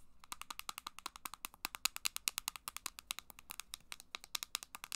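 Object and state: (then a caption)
Plastic handheld game console. A small, hollow, copper-pink plastic handheld game device, possibly a Game Boy Advance SP, is held in the hands and tapped throughout with long black acrylic nails. About 42 quick, crisp, bright clicks come in a fast, uneven rhythm, each stopping dead with no ring.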